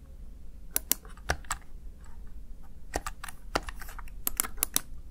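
A small, hollow, backlit plastic Razer Tartarus Chroma gaming keypad has its keys tapped with fingertips and long nails. Irregular bursts of crisp, bright plastic clicks ring out, each dying away almost instantly, over a low background rumble.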